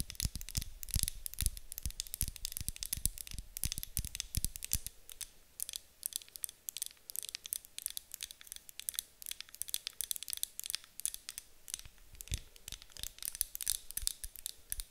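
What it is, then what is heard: Glass candle jar. Long acrylic nails tap and scratch a medium white glass candle jar with a gold metal lid, apparently filled with wax, held in both hands. Rapid, sharp, bright clicks come in dense bursts, with heavier low thumps during the first five seconds. After that the sound thins to lighter ticking and scratching, with very little ring after each tap.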